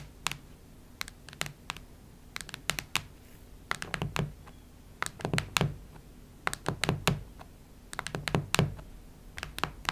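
Long nails tap and scratch the cardboard cover of a cactus-print hardcover notebook. They make quick, dry, clicking taps that come in irregular clusters, with soft scratching between them. Each tap stops at once with no ring, over a low hum.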